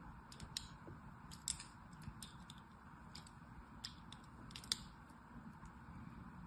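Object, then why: Bar of soap scraped with a thin metal blade. A thin metal blade scores grooves into the surface of a solid blue soap bar held in hand. Short, bright scratchy crackles and scrapes come in irregular bursts over a quiet, steady low rumble.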